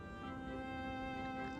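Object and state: Nothing is struck.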